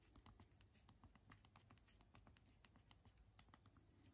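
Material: Hard plastic.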